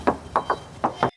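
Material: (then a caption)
Sheet steel. Five knocks on the steel side body panel of a 2021 Suzuki XL7 Alpha A/T produce short, dull, mid-pitched taps that die away almost instantly. The panel sounds like solid original sheet metal, unrepaired.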